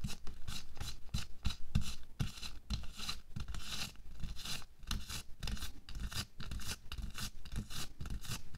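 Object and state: Latex glove being scratched.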